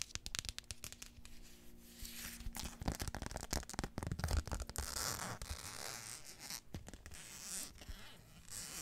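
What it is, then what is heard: Flip-flop sandal sole, scratched. Long painted fingernails rub and scratch the footbed of a single tan flip-flop sandal with a thin strap and a flat synthetic sole, held close to the microphone. Quick, irregular scratches and taps crackle with bright hiss over a low rumble, with no ring after each stroke.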